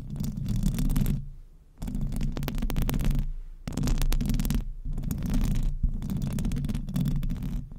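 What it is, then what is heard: Metal microphone grille scratched with nails. Long acrylic nails on both hands scratch the metal mesh grille of a silver microphone. The result is dense, rumbling, scratchy friction, mostly deep and boomy with a faint bright crackle on top. It comes in long bursts separated by brief quiet gaps.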